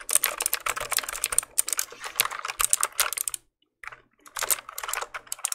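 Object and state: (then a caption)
Plastic mechanical keyboard. A black plastic mechanical keyboard, held in the hand, has its keys pressed and tapped with the fingertips. It gives quick, bright, clacking clicks in dense bursts, with a brief silence partway through before the tapping resumes.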